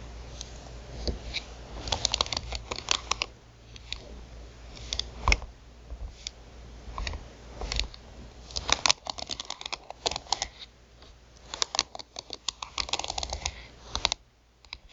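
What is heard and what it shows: Long nails tap quickly on the rubber buttons of a black plastic TV remote control lying on a bamboo mat. Rapid, dry, bright clicks come in uneven bursts over a low, steady hum.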